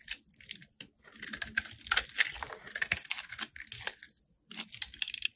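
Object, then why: Soap bar scraped with a metal blade. A metal blade scrapes and carves flakes from the surface of a solid, hand-sized, light-blue bar of soap held in one hand. It makes quiet, dense, crisp scratching and crackling with bright, sharp ticks. The scraping comes in uneven bursts, with a near-silent pause just before the final stretch.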